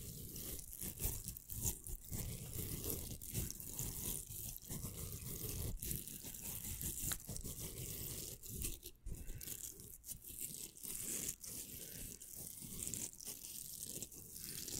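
A pink hollow velcro hair roller has its hook surface scratched and rubbed with fingertips and nails. The result is a dense, continuous crackling scratch with a bright rasp and a low rumble beneath. Many short, sharp bursts break through the steady texture.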